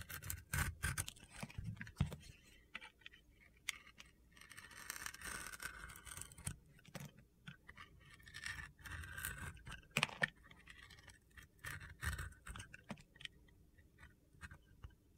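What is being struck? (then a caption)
Bar of soap shaved by a blade. A utility knife shaves thin layers off a solid bar of blue sequin soap, exposing white soap beneath the blue coating. Bursts of crisp, gritty scraping alternate with sharp clicks and short pauses throughout.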